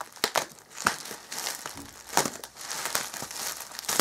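Bare hands grip and crinkle a bundle of clear plastic bubble wrap wrapped around an item resting on a black Alienware M11x2 gaming laptop, while a small tool or scissors cuts and pulls at it. Dry, bright crinkling rustles continuously, broken by irregular sharp snaps and crackles that die away almost instantly.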